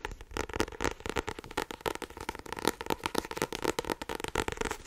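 A solid blue-cover paperback with a card cover is held up in both hands while fingertips and long nails tap quickly on the front cover. About 25 dry, short taps come in a rapid, uneven patter with a mid-pitched hollow thud and crisp bright clicks. Each tap stops dead with no ring.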